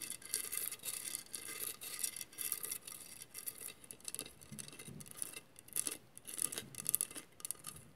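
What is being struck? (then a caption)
Glass mosaic vase. A hollow glass mosaic vase is scratched with long nails, giving a quick run of dry, bright rasping strokes with sharp high glassy ticks and little low body. The strokes come in short bursts, louder early on, then quieter with occasional sharper scrapes.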